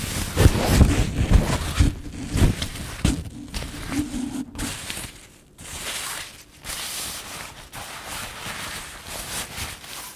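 Fingers and nails crumple and rub a soft patterned synthetic fabric scarf held up close. Dense, crackling rustles with low bumps are loudest in the first few seconds, then ease into quieter, steady crinkling broken by brief pauses.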